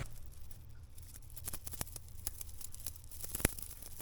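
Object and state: Clean bicycle chain.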